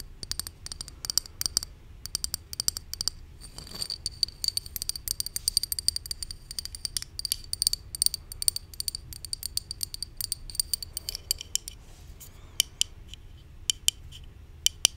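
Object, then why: Plastic bottle. A hollow white plastic supplement bottle with a paper label is held in the hand and tapped with long nails. Quick bursts of bright, dry clicks follow one another, each dying away almost at once, with a faint high ring around 3 kHz. The tapping pauses briefly a few times before continuing.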